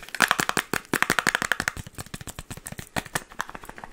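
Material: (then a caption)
Cardboard. A small, cube-shaped printed cardboard candy box, probably hollow, is tapped and scratched rapidly with long acrylic nails. About 25 quick, dry taps and clicks come in uneven bursts: the early ones are louder, with a hollow, papery ring near 1.7 kHz, and the later ones are softer and scratchier. Each hit stops almost instantly with no lingering ring.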